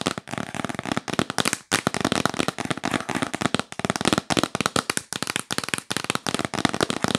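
Long nails tap quickly on the lid of a hollow, yellow printed cardboard box. The result is a fast, dense string of dry, crackly clicks with almost no ring, hollow body and bright edges.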